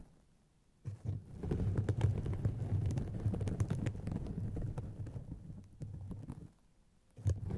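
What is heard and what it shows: Long painted fingernails scratch and squeeze two hollow white polyethylene foam mesh fruit-protector sleeves stretched over microphones, producing a dense, muffled, low-pitched scratchy rustle and crunching. After a near-silent start, the scratching runs continuously for about five and a half seconds, pauses briefly, then resumes at the end.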